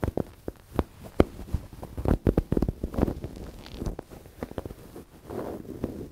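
Hands rub and squeeze a medium-sized, soft, stuffed dark grey velvet cushion held up in the air, while fingertips and nails scratch its velvet cover. A series of soft, muffled brushing and scratching strokes follows, low and dull with short, quickly dying bursts and patches of rustling friction between them.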